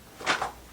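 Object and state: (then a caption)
Cardboard box with loose contents rattling. A delivered cardboard package box marked "Fragile", holding jigsaw puzzles, is shaken once, giving a brief soft rattle of loose contents inside. The short shake carries mid and high-frequency noise and dies away within a fraction of a second.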